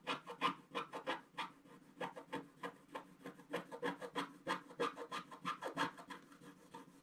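A wooden stick scratches the black wax coating of a thin, flat scratch-art picture card lying on a table, working in the lower water area of the picture. It makes a quick, fairly steady run of short, dry rasping strokes with a midrange scraping tone and bright edges, each stroke ending almost at once.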